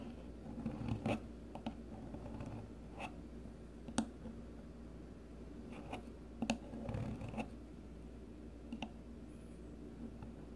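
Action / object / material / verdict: scrape / bar of soap shaved with a metal peeler blade / soap / none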